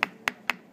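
Four sharp, dry taps on the petrous part of the temporal bone of a skull, the solid "rock" of the bone, each click bright and very short with almost no ring. This is the dense sound heard in contrast to the thin squamous part.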